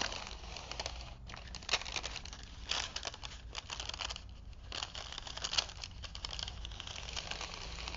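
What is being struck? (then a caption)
Printed paper film strip on a wooden spool. A thin printed paper film strip from a vintage paper movie, wound on a wooden spool and held in both hands, is unrolled and crinkled by fingertips. It gives a dense, bright crinkling and crackling, with sharper snaps around the 1.7, 2.7 and 5.6 second marks. A steady low hum runs underneath throughout.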